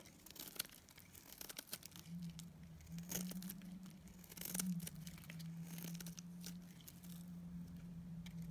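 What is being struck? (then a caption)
Bar of dried soap cut with a metal blade. A metal utility blade shaves and scrapes a solid, dried pink bar of soap with a blue coating, producing crisp, crumbly scraping and crinkling sounds with brief bright bursts. A steady low hum sits beneath the cutting from about two seconds onward.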